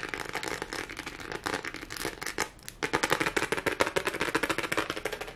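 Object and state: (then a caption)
Silicone textured pad. A thin, solid, flat lime-green hexagonal silicone pad with a raised nub texture, held in both hands, is scratched and tapped fast with long fingernails. Dozens of quick, dry clicks and scratchy rasps run together in a busy, bright patter. The patter dips briefly near the middle, then returns louder and more sharply pulsed to the end.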